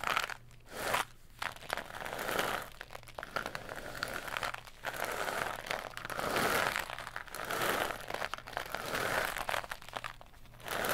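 A long, hollow tan tube, likely cardboard, is held in both hands and twisted and bent at its middle joint. It gives off dry, bright crunching and crinkling bursts that swell and fade, separated by brief quieter pauses, over a faint steady low hum.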